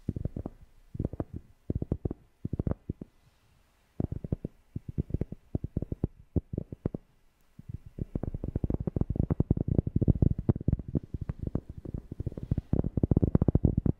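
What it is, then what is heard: Cork tapped. A cork object is tapped close to a FIFINE K690 microphone, giving deep, bassy, dull thumps that stop dead with no ring. The taps come in quick clusters with short pauses near 3 and 7 seconds, then run faster and louder and almost continuous from about 8 seconds to the end.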